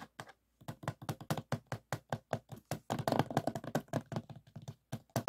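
Fingertips tap quickly on the back of a closed, hollow plastic DVD case resting on a table. The result is a rapid, uneven run of short, dry, hollow plastic taps with a low-mid body, some clustering into fast rolls, and each dying away almost immediately.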